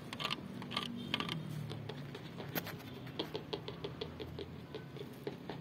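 A large blue painted steel car body panel, a hood or door of hollow sheet metal reflecting the sky, is knocked and tapped with knuckles and fingertips. A quick series of light, dry taps gives brief bright metallic pings around 3 kHz that die away almost instantly, over a low steady background rumble.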